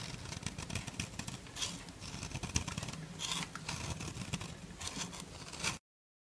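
A black metal nail file rasps along the side of a solid white bar of soap held in the hand, shaking fine soap powder loose. It makes a steady, dense scratching with a bright, hissy top and a low rumble underneath. The sound swells in a few brighter strokes before cutting off abruptly near the end.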